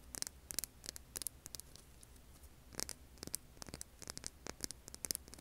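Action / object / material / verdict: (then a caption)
tap / rough stone rock / stone / none. Long polished nails tap and scratch the craggy surface of a large, solid, rough beige rock held in both hands. The result is quiet, irregular bursts of sharp, bright clicks and scrapes over a steady low hum.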